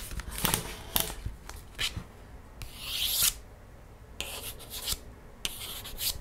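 Long nails trace and scratch across a thick laminated paperboard page of a cardboard board book held up in the air. Short, bright scratching strokes come in bursts, with one longer, steadier rub in the middle, and the quiet hiss of the page fills the gaps between them.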